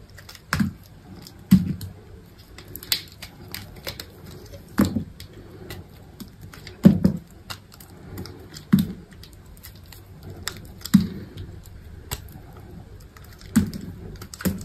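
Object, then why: Soap bar cut with a knife. A solid green bar of soap is held in hand while thin slivers are sliced and scraped off its edge with a utility knife. Soft, crisp scraping and cutting sounds come in bursts, with a firmer, louder cut every second or two over quiet, dull shaving noises. Each cut is short and dry, with little ring and most of the energy low.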